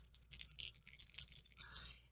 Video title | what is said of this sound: June 2021 BoxyLuxe Unboxing - Moxie Lash, NARS, Avant | you can hear it's got um little beads in it shake it up